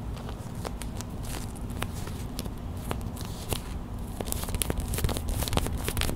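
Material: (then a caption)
Plastic. A small clear plastic hot/cold pack with a printed label, filled with white gel beads, is held in the hands while it is squeezed, tapped and scratched with long white acrylic nails. Irregular bright clicks, crinkles and scratchy taps come fast over a steady low rumble, growing denser and sharper toward the end.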